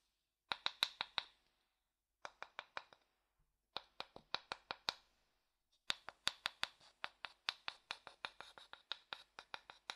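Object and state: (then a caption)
Wooden bowl tapped with a stick. A thin wooden stick taps and scratches the inside of an empty, pale, hollow light wooden bowl, making 34 quick, dry, bright clicks. The clicks come in four bursts separated by short silences, the last burst long and rapid, and each one dies away almost instantly.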